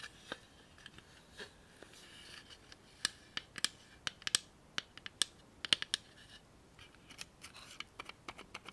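Long manicured nails tap a small clear and white plastic 3M tape dispenser holding a tape roll, giving about nineteen sharp, bright clicks with no ring. The taps come at an irregular pace, faint at first, louder through the middle, then softer and quicker toward the end.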